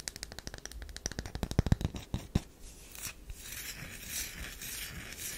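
Long nails scratch repeatedly at a solid tan DURU bar soap held in the palm. A rapid run of short, sharp clicks and ticks comes first, then it gives way to a softer, continuous bright scraping hiss.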